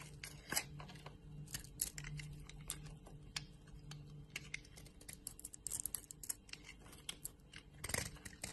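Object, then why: Solid soap bar cut with a metal blade. A hand-sized solid bar soap with a yellow outer layer and a white core, held in the hand, is cut and scraped by a metal utility blade that takes off chunks. Quiet, crisp scraping and crunchy slicing come in many short, bright bursts with almost no ring. A steady low hum sits underneath throughout.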